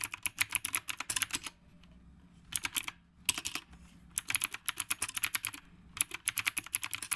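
Fingertips from both hands type steadily on a black retro typewriter-style mechanical keyboard with round plastic keycaps. Quick bursts of crisp, bright key clicks with very short decay and almost no low end are broken by brief quiet pauses between runs.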